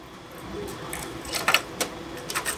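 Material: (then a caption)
Plastic. A box of old Rogue plastic minnow lures, the silent non-rattling type without shot inside, is shaken. It gives only a few soft, dry ticks and clicks over a faint background hiss, with about six brief clicks standing out and no sustained rattle.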